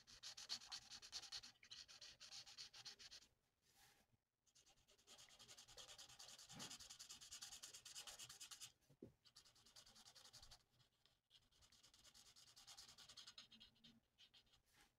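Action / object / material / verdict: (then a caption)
scrape / felt-tip marker rubbed on a paper sheet / paper / none. A plastic alcohol marker's felt nib is rubbed in rapid back-and-forth strokes across a thin, flat sheet of printed paper on a table. This produces a bright, hissy scratching that comes in bursts, with brief quiet gaps between the runs of strokes.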